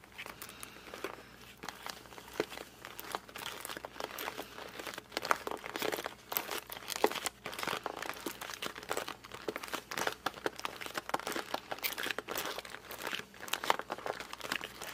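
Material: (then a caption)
Cardboard. A small, closed 500-piece cardboard puzzle box is held in both hands and gripped and squeezed with the fingertips and thumbs. Dense, continuous squeaky, crinkly gripping sounds with quick crackling bursts fill the whole clip, bright and light with almost no low end.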